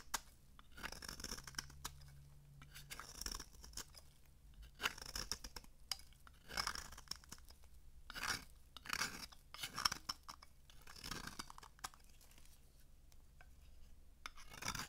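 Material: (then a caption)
Soap. A metal blade carves crunchy flakes from the top face of a dry, solid rectangular pink "Very Berry" bar soap held in one hand. Quiet, bright, crisp scraping and crackling bursts come in uneven waves over a faint steady low hum.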